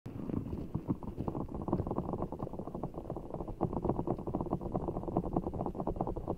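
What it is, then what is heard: Giant water gel bead ball, squeezed. A large, full, soft ball of blue water gel beads in a clear stretchy rubber skin is cupped over a microphone while fingertips and long nails squeeze, rub and scratch it. The result is a dense, muffled stream of squelching, crackling and rapid soft ticks, heavy in the lows and mids with almost no bright content, holding a steady level throughout.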